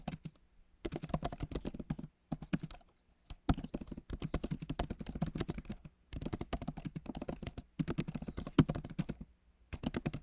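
Fingertips of both hands type on the plastic keys of a solid, backlit MacBook Pro keyboard set in an aluminum body. Quick, dry clicks come in bursts separated by short pauses, each tap dying out almost at once.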